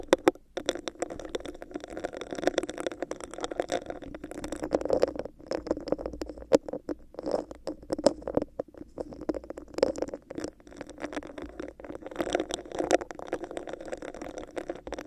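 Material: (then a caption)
Plastic. Long acrylic nails scratch and tap a hollow, clear, bumpy textured plastic cup placed over a microphone. The result is a dense, continuous patter of quick taps and scraping scratches with a muffled, hollow midrange resonance, steady and close-sounding throughout.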